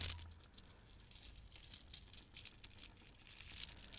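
A handful of gold plastic beads from a bead garland is squeezed and shaken in one hand with long red nails. The beads clack and rustle in a quiet, continuous stream of tiny, bright, crisp clicks with little low end. Brief louder bursts come at the start and toward the end.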